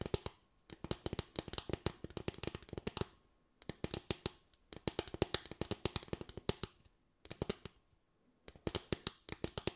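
Long acrylic nails tap rapidly on a small slatted bamboo board with a ridged top, producing crisp, bright clicks with almost no ring. The tapping comes in four bursts separated by brief pauses.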